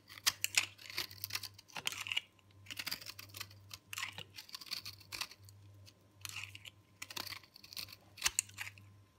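A solid round ball of hard, dry, green-purple recycled soap is held in the hand and scraped and shaved with a metal box-cutter blade. Bursts of crisp, bright scraping and crackling come in clusters, with short gaps between strokes. A faint low hum sits under the clip throughout.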